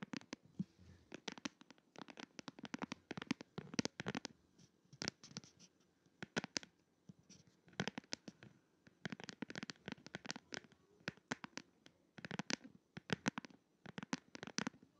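A smartphone in a glitter plastic case is held upright while fingertips and short nails tap and scratch the back of the case. The result is quick, dry clicks and scratchy rasps in uneven bursts with short pauses, each sharp with almost no ring and reaching into bright highs.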